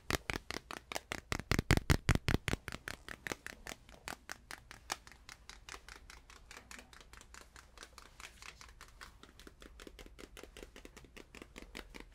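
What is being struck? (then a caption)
Small stretched canvas panel. A small stretched canvas is tapped rapidly and unevenly, about 58 short, dull taps with little ring. The taps are loudest in the first few seconds, then grow quieter and more distant for the rest of the clip.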